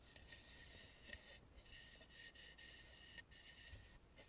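Long nails scratch and rub the painted cheeks, nose and forehead of a hollow carved wooden mask lying face up. The result is a quiet, steady, bright scratchy rasping with a faint tonal edge near 1.9 kHz and brief louder strokes along the way.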